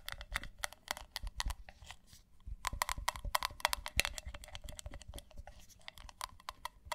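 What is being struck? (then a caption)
Ceramic mug. Long nails tap fast on the outside of a hollow, pale pink matte ceramic mug with a handle. The result is a rapid run of sharp, bright clicks with a faint high ring, briefly thinning out near the middle before picking up again.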